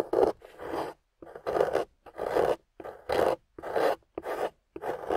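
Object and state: Scraping wet clay.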